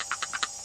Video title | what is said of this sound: IPOD MINI 1ST/2ND GEN HARDDRIVE REPLACEMENT/UPGRADE | It rattles a little bit.